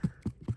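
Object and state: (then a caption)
Hollow-sounding dead redwood heartwood. Three low, hollow-sounding thuds as the dead heartwood inside a giant redwood tree is tapped, each dull knock fading almost at once.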